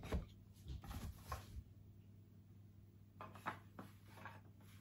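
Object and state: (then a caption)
Plastic toy sphere tapped with fingertips. A dark grey hollow plastic Borg sphere about the size of a grapefruit is held in both hands and tapped with the fingertips, giving soft, dull, short knocks in two clusters over a steady low hum. At the end, one hand moves away from the sphere.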